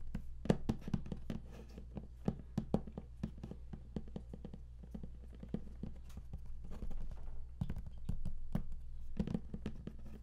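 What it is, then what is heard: Cardboard box, hollow. Fingertips tap rapidly on the raised panel of the lid of a large, flat, closed, hollow cardboard game collector's box. The result is a quick run of short, dull, low taps with little ring, heard over a steady low hum.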